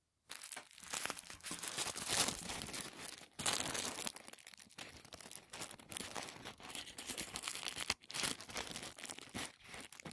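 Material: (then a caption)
Paper. A large folded sheet of thin white tissue paper, shoe-box wrapping, is held over a wooden table while fingertips fold and crinkle it. The result is a steady, bright, papery rustle and crackle with brief pauses, almost no low end, and no lingering ring.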